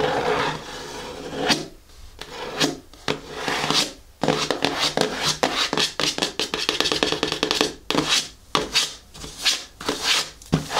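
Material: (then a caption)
Cardboard. Long natural nails tap and scratch across the closed lid of a large, hollow, black printed cardboard shoe-style box lying on a table. Bright, raspy scratching strokes alternate with quick runs of crisp taps, each dying away almost at once.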